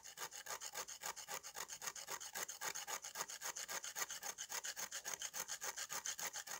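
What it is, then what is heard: Dried mud slab scraped with a knife. A knife blade scrapes back and forth across the surface of a solid, powdery dried red mud slab, shedding red dust. The result is a rapid, steady run of dry, bright, rasping strokes with almost no low end, each stroke cutting off quickly.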